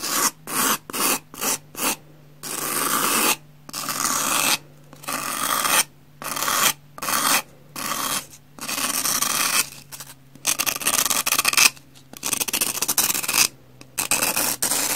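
A metal knife blade scrapes along the face and edge of a solid, porous, palm-sized pumice block, leaving grooves. It makes bright, gritty rasping strokes: short quick scrapes at first, then longer continuous passes with brief pauses between them. A faint low hum runs steadily underneath.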